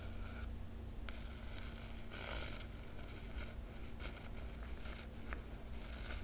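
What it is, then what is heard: Cloth hardcover book cover being scratched. A long nail traces the silver foil dragon emblem on a large hardcover book with a black cloth cover. Soft, dry scratching and rustling sweeps come in bright bursts with a few sharp ticks, all over a steady low hum. The sound stays quiet and even throughout.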